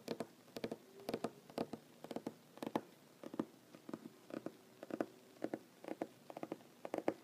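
Fingernails of one hand tap rapidly on a large solid wooden tabletop in quick, irregular bursts of clicks. Each tap is short and dry with a woody tone around 320 Hz and a bright click on top, and quiet pauses fall between the flurries.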